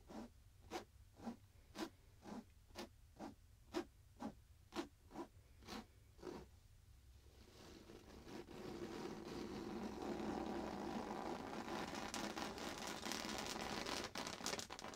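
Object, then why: Stuffed pillow with fabric cover. Fingers scratch and grip along the edges and surface of a soft stuffed pillow with a printed fabric cover, held in both hands. A dozen short, evenly spaced scratching strokes come first, then after about seven seconds they give way to a louder, continuous rustling scrape that fills the rest of the clip.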